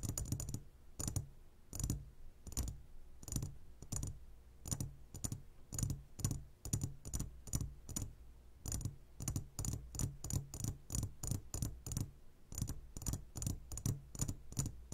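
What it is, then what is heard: Glass candy jar. Fingertips of both hands tap quickly on the walls of a clear glass jar full of gummy candies. The result is a long run of short, crisp clicking taps, each with a low thud and a bright edge that dies away almost at once.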